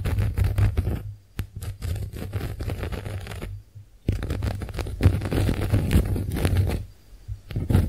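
A pink heart-shaped konjac face sponge is scratched and tapped with long nails across its porous surface, giving dense bursts of soft, low, crackly scraping and tapping. The sound pauses briefly around one and a half, three and a half, and seven seconds, then resumes.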